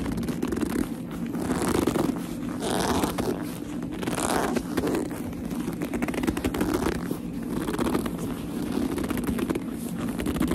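Long nails grip, rub and scratch the smooth surface of a black leather handbag up close. The result is a continuous stream of squeaky, scratchy friction, mostly low-mid in tone, with brighter swells as the grip tightens. The level stays steady throughout, with no speech.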